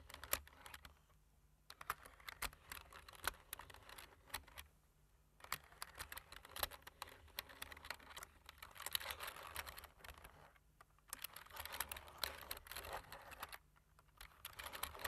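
Fingertips of both hands type repeatedly on the black plastic keys of a light-framed plastic computer keyboard. Quick, bright clicks and taps patter in dense bursts with almost no ring, broken by brief pauses of near silence.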